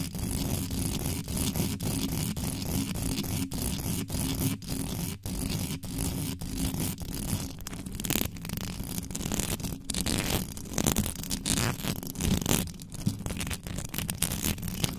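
Long white nails scratch and tap quickly over the top and sides of a bare metal mesh microphone grille. The result is a dense, rough scratching with a heavy low rumble and a bright hiss, broken by sharp clicks. It grows louder and more uneven toward the end.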